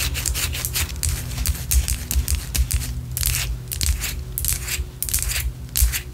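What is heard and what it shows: A white solid wax pillar candle, held sideways, is scratched with long orange acrylic nails. Rapid, bright, rasping scratch strokes come in a quick, uneven rhythm over a steady low hum.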